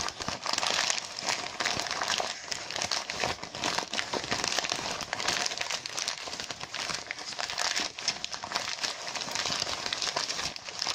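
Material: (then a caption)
Mylar foil. A deflated mylar foil balloon with printed lettering, thin and hollow, is crumpled and scratched by fingertips and nails. The result is a continuous, bright, crackling crinkle with many rapid, dense transients and almost no low end.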